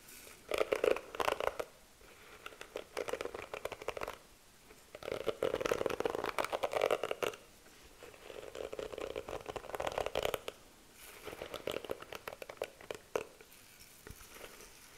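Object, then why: Plastic hairbrush bristles. Long nails scratch and rake across the pink plastic bristles of a small handheld plastic detangling hairbrush with a clear, patterned plastic handle, held close to the mic. The result is bursts of dense, crackly, scratchy ticking centered in the midrange, separated by short quiet pauses.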